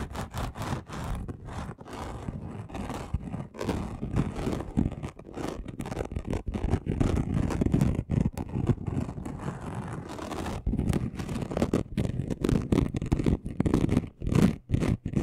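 A flat gold and red chunky glitter sheet, about A4 size, lies on a dark cloth while its coarse surface is scratched fast with the short nails and fingertips of both hands. The result is a steady, rapid, dry rasping and scraping with many quick strokes, heavy in the low end with very little high brightness.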